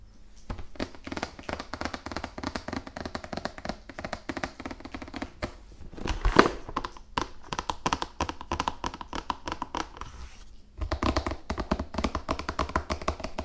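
A large, hollow, still-sealed printed cardboard Risk board game box is held upright in front of the mic and tapped with fingertips and long nails. Rapid, dry, close tapping runs steadily, with short pauses near 6 and 11 seconds and a louder thump around 6.4 seconds. Each tap has a hollow, low-mid knock with crisp nail clicks on top and almost no ring.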